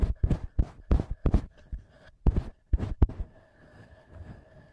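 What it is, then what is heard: Handheld audio recorder being tapped. Fingertips and short nails tap and scratch the top housing and metal-ringed mic capsules of a small black plastic TASCAM handheld recorder. Dull, bassy thumps come in quick, irregular bursts with soft scratchy texture between them. A faint, steady hum remains as the tapping stops near the end.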